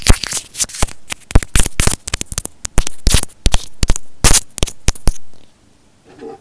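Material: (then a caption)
Plastic. A small white plastic inline microphone on an earphone cord is held between the fingers while fingernails tap and scratch its housing and the cord. Close, crisp taps and scratchy rubs come in quick, uneven bursts of bright crackle for about five seconds. Then it falls nearly silent, with one faint soft rustle at the end.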